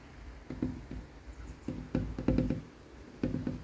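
A large, solid wooden tabletop with a flat brown wood-grain surface is tapped and knocked with fingertips and knuckles with short painted nails. It gives short, dull knocks with a low tone around 250 Hz that die away almost at once, coming in loose clusters of quick taps.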